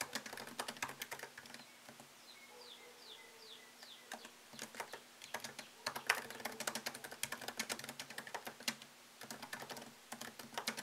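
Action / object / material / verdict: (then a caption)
tap / laptop keyboard, plastic keys in aluminium body / plastic / none. Fingertips tap the plastic keycaps of a MacBook Pro laptop keyboard set in an aluminium body, producing fast, bright clicking typing in bursts. There is a short pause early on where only faint high chirps and a steady low hum remain, and the clicks then resume quickly and densely until the end.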